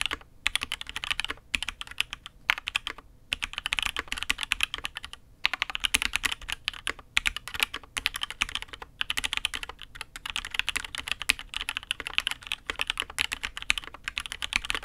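A custom mechanical keyboard with an aluminium case and red and grey ABS keycaps, typed on steadily with the fingertips of both hands. Rapid, bright, short clicks form a continuous stream of keystrokes, pausing briefly every second or so.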